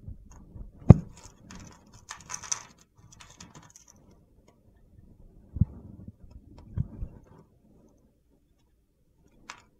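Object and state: Bar of soap being scraped.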